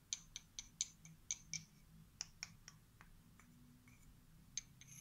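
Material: Wood.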